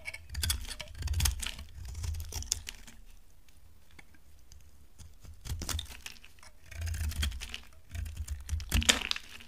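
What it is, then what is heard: Dry laundry soap bar being carved. A utility knife blade carves a solid, dry brown laundry soap bar, giving crisp, bright scraping and shaving bursts over soft low thumps. The cutting comes in clusters, with a quieter stretch in the middle before the shaving picks up again toward the end.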